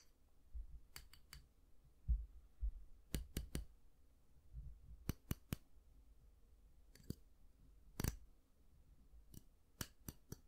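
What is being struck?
Plastic round hair brush with vented barrel.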